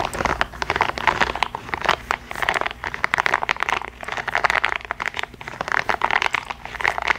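Long acrylic nails scratch and tap the spikes of a small yellow, hollow, soft rubber or plastic spiky massage ball held close to the microphone. The result is a dense stream of dry, crackly scratching and quick clicky taps centered in the mids around 1 kHz, with little low end. Each tap dies away instantly, with no ring.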